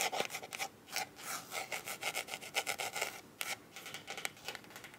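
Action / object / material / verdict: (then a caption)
scrape / hard plastic glasses case / plastic / none. Long nails scratch and tap the top and sides of a closed, hollow black hard-shell eyeglasses case with a smooth faux-leather/plastic coating. Quick, dry, bright scratching bursts and light taps follow one another rapidly, with almost no low end and no ring after each stroke.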